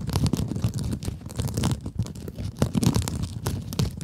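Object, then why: Mesh scrub sponge. Long acrylic nails scratch across a small pink scrub sponge with a glittery mesh cover. The result is a continuous, dense scratchy rasp made of rapid overlapping strokes, heavy in low rumble with faint bright crackle on top.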